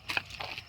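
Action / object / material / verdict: knock / scooter body panel / metal / none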